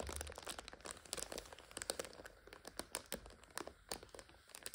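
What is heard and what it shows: A full plastic multipack of instant noodles stands on its end, red wrapper side up, while fingernails scratch and fingers crinkle the film. Dense, bright crinkling is broken by many short, sharp crackles with almost no ring.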